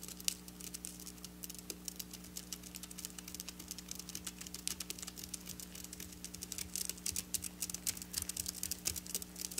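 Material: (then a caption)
Sequins. Long black nails quickly tap and scratch across flat silver sequin fabric. The result is a dense, bright stream of tiny crisp clicks and scratchy rustles, over a faint, steady low hum throughout.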